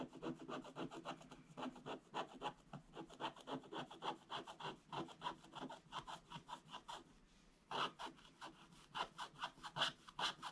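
A wooden stylus rubs and scratches large areas of a black coated scratch-art paper page with quick back-and-forth strokes. Each stroke gives a dry, rasping scrape with bright, high texture and almost no low end. The steady rhythm pauses briefly near the middle, then resumes with a few sharper strokes.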